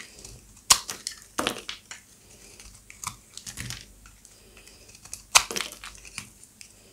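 A solid peach rectangular bar of dry soap, held in the palm, is shaved with a serrated utility-knife blade, and thin brittle flakes break off. Sharp, bright crunching cracks and crinkles come in uneven bursts with quiet gaps between them. Each crack stops almost at once, with no ring.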